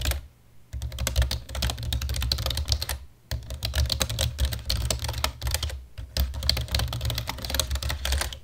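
Fingertips and short nails type with both hands on a solid, full-size black plastic computer keyboard, producing rapid, dense clicking and tapping with bright, crisp key sounds and a steady low thump underneath. The typing comes in bursts separated by brief pauses near the start, around three seconds and just before six seconds, and each keystroke stops almost instantly.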